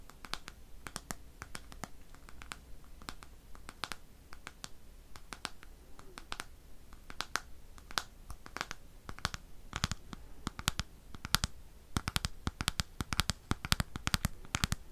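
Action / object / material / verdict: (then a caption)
scrape / plastic bristle hairbrush with cushion / plastic / none. Fingernails scratch and flick the bristle tips of a black plastic hairbrush with dense bristles on a pink cushion. The result is a rapid, irregular stream of short, bright, dry clicks and scratchy ticks that thicken toward the end, over a quiet steady low hum.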